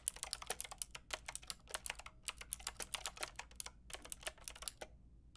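Long painted nails and fingertips type on a white-pink backlit mechanical keyboard with round plastic keycaps. A quick, uneven run of sharp, bright plastic clicks and clacks is heard, each dying out almost instantly. Brief pauses break up the typing, and there is little low end.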